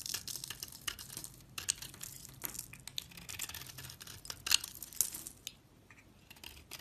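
A utility knife scrapes the face of a solid dark brown oval soap bar with a stamped logo, held in hand, peeling it into fibrous tan shavings. The scraping makes a dense run of quiet, bright, crisp crackles and rasps with almost no low end, rising into a few sharper snaps near the middle.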